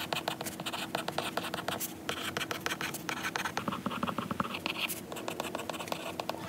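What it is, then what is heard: Stylus writing on a glass tablet screen. A lilac stylus tip writes on a glass iPad screen showing a lined note page. A rapid series of short, dry scratching and tapping strokes on the glass, with bright, brief clicks and no ring.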